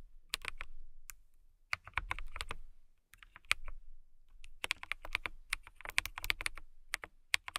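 Long nails and fingertips type on a transparent acrylic mechanical keyboard with clear keycaps. Bright, sharp clacks come in quick bursts separated by brief pauses, with a soft low thump under the keystrokes. Each click is centered around 2 kHz and dies away almost instantly.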